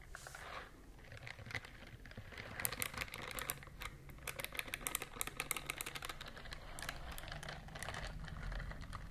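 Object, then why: Silicone scrubber glove with bristle nubs. Long nails scratch the bristle nubs on the palm of a pink silicone dishwashing glove worn on one hand, and the glove is then rubbed between the hands. The result is a dense run of quick, crisp, bright ticking scratches over a soft, steady rubbing hiss and low rumble, each tick dying away almost instantly.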